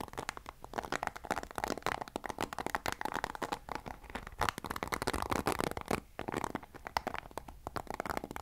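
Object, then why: Plastic paddle hairbrush bristles. A black plastic paddle hairbrush is held by the handle while fingers scratch and strum its bristles. The result is a dense run of quick, crackly scratching bursts, bright and papery in texture. A couple of brief pauses fall near the 6-second mark.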